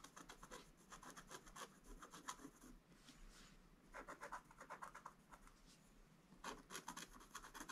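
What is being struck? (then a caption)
Black-coated scratch art paper board scratched with a wooden stylus. A wooden stylus scratches lines into a flat, black-coated scratch art paper board. Quick, dry scraping strokes come in three bursts with quieter gaps between them, each stroke a bright, raspy rub with a mid-range edge.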